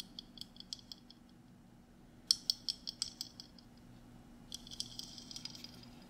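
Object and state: Glass mason jar with metal lid.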